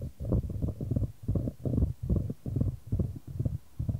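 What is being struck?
Wooden ball in a shallow wooden tray.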